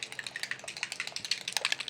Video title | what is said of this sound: Fixing a scratch/chip on Storm Mix | if you shake them up, you can hear the ball bearing in there